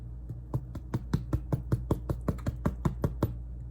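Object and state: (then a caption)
Baked-through sourdough loaf, hollow. A sourdough loaf that has baked for 60 minutes is tapped in a quick, steady series, giving short, dull, low thuds. The hollow sound means the bread is done.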